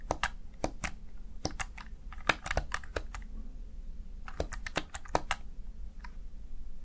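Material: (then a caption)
Plastic. Fingertips tap and press the keys of a small black plastic backlit Razer Tartarus Chroma gaming keypad. A run of sharp, short plastic clicks with a dull low thump under each comes in uneven bursts, with a brief pause in the middle before the tapping resumes.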